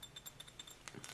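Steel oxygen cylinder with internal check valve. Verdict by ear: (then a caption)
Empty. A steel oxygen cylinder with an internal check valve is shaken after being vented outdoors, and the loose check valve rattles inside it in a quick series of light, bright metallic clinks. The rattle shows there is no pressure left in the cylinder, though some oxygen still remains and it must be purged with water.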